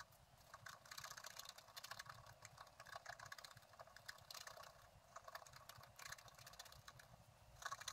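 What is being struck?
Wooden stylus on coated scratch art paper.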